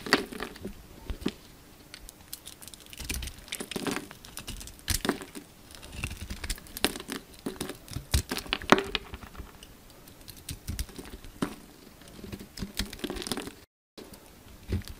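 A solid translucent purple bar of soap, held in the palm, is scraped and carved with a yellow utility knife as flakes pile up. The result is a steady, dry crinkling and scraping texture full of quick, sharp crackles and ticks spread from low to high, with a brief silent gap near the end.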